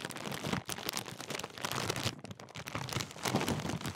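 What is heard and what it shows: A large Walkers crisp bag made of metallised plastic film has its sealed top crumpled and rubbed between fingers. The result is a steady, dense crinkling with bright, crisp rustles throughout. There are brief dips near the middle and a louder burst toward the end.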